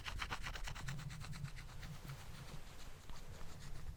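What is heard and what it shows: Wooden balls are tapped and rubbed together while being moved from the back to the front of a microphone in stereo mode. The result is a rapid string of light clicks and rubbing over a steady low rumble, busiest in the first second and again near the end.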